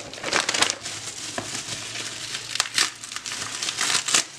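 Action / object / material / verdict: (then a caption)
scrape / plastic bubble wrap sheet / plastic / none. A sheet of clear, thin, light, air-filled plastic bubble wrap is pressed flat over a packaged box with the fingertips, then gathered up and scrunched between both hands. Bright crinkling and crushing sounds come in bursts, with sharp crackles and almost no low end.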